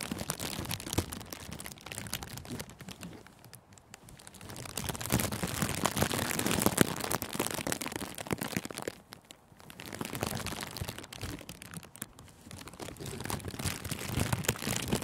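Clear plastic cellophane gift wrap bunched around a microphone windscreen is squeezed and crumpled by both hands. The result is a dense, bright crackling and crinkling that swells in waves, easing briefly around 4, 9 and 12 seconds before building again.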